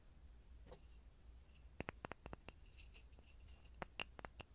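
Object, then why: Small pine wood block. A small, solid, light pine block with visible grain is held over a mini microphone and tapped and scratched with fingertips and short nails. Soft scratching over a low steady hum gives way to about eleven sharp, dry clicks, bright with a tone near 2.8 kHz, that stop instantly with no ring.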